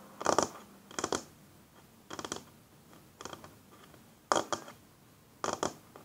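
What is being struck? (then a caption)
Wooden tabletop. Fingernails and fingertips slowly rub and scratch a flat, solid wooden tabletop. Six short, dry scratching bursts, each made of quick paired strokes, stand out against quiet pauses. They have a bright, raspy texture with very little low end and almost no ring after each stroke.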